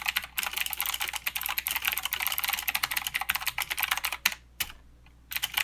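A mechanical keyboard with plastic keycaps and clicky blue switches is typed on with the fingertips of both hands. It gives a rapid, continuous stream of sharp, bright clicks that pause briefly near the end, then resume.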